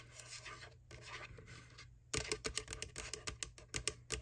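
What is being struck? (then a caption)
Small plastic Halloween candy bucket. Long nails scratch softly across the flat inner lid area near the handle of a small, empty, hollow white plastic ghost bucket, a McDonald's Boo Bucket. About halfway through, the scratching gives way to a run of quick, sharp, bright tapping clicks with a hollow plastic knock.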